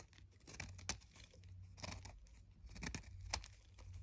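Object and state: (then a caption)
Chalk disc being shaved. A small solid white chalk disc, held in the fingers, is shaved with a red utility knife blade, scraping off crumbly chunks. Dry, gritty scrapes and crunchy crackles come in short bursts with bright edges over a steady low hum. Each scrape stops sharply with almost no ring.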